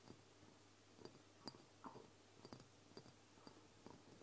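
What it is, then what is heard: Glass dropper bottle. Long blue nails tap and scratch the glass sides and the paper label of a medium brown glass castor oil dropper bottle, which holds liquid and sits on a table. Quiet, sharp clicks with a faint high glassy ring are spread through the clip, mixed with soft scraping over a low background hum.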